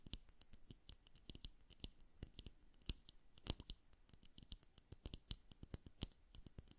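Long nails tap the glass bulb of a liquid-filled bubble hourglass held horizontally. The result is a quick, uneven stream of quiet, crisp clicks, each with a bright glassy tick and a soft low thud that dies away almost instantly.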